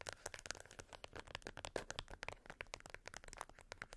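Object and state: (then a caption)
Plastic remote control with rubber buttons. Long white almond acrylic nails on both hands tap and click the colored rubber buttons of a small flat black plastic LED IR remote control. The remote lies on a beeswax wrap on fur. Dense, quick, dry clicks and crinkly taps follow one another throughout, each dying away almost instantly with bright high edges.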